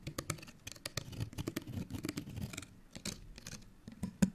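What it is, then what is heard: Paper card tag scratched with nails. A small folded, printed paper card hang tag is held in both hands and scratched with long nails. Quick, dry scratching strokes and light tapping clicks run throughout, with brief bright crackles over a soft low rustle, ending in a sharper tap near the end.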